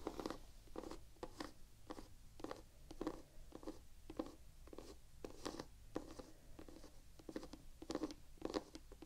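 Long painted fingernails scratch and tap across the white textured rubber waffle-pattern tread on the solid sole of a Vans canvas sneaker held up in the air. The result is a quiet run of quick, dry taps and scratchy bursts with a dull low-mid body and bright hissy edges that stop at once with no ring, over a faint low hum.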